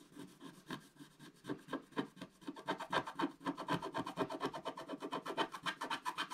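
A wooden stylus scratches the coating off a flat, black-coated scratch-art paper page in dense, rapid strokes, about four per second. Each stroke is a dry, raspy scrape centred around 1 kHz with a bright hiss. The strokes start sparse and quiet, then grow steadier and louder.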